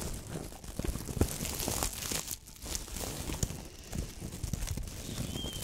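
A long green-silver tinsel garland of thin metallized plastic strands, light and airy, is held in both hands and squeezed and rubbed with the fingertips. It makes a steady, dense crinkling rustle with sharp little crackles, dipping briefly quieter partway through.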